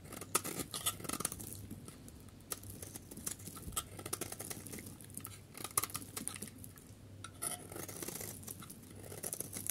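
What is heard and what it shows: A solid pale yellow dry soap bar, held in a palm, has its surface scraped into powdery flakes with a utility knife blade. Quiet, dense, crackly scraping with rapid bright ticks runs throughout, over a steady low hum. Each tick dies away almost instantly, with no ring.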